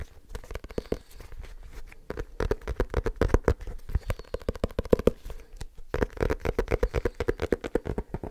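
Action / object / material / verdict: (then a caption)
tap / small leather-covered book / leather / none. Fingertips tap quickly and continuously on the cover of a small, solid, dark leather-bound book. Each tap is a short, dull thud, heavy in the lows with a faint mid tone around 470 Hz. The taps vary in force and die away almost at once.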